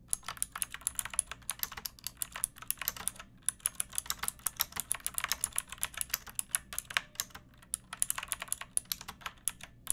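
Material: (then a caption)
Plastic. Long nails and fingertips type steadily on a backlit pink mechanical keyboard with round plastic keycaps and a hollow plastic case. The result is a quick, continuous run of crisp, bright clicks that stop almost instantly, with a short pause about a third of the way through.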